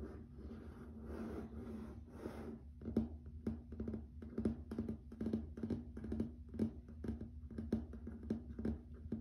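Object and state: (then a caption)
Laminate floor tapped with fingertips and nails. Fingertips and nails work on a grey wood-grain laminate plank floor, first with a few seconds of soft, smeared scratching strokes. These give way to rapid, dry, short taps with quick decay, heard over a steady low hum.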